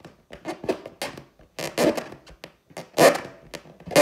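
Long teal acrylic nails scratch and tap the skin of a large inflated clear latex balloon with a gold pineapple print. An irregular series of short, dry taps and squeaky rubbing scratches is heard. Each is bright and mid-pitched with almost no low end, and dies away quickly with only a faint hollow ring.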